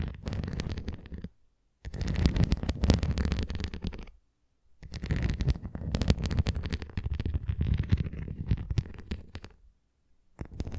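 A red plastic flying disc toy, held edge-on, has its rim rapidly tapped and scratched with long nails. This makes dense, low, muffled patters of tapping and scratching with some brighter scratchy edges. The sound comes in four bursts separated by short silences.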